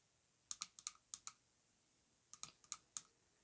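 Long acrylic nails tap near the base of a tall, orange-coated glass perfume bottle with gold metal rings, filled with perfume and lying on a faux-fur rug. Eleven quiet, bright, clicky taps come in two loose bursts, each dying away almost at once.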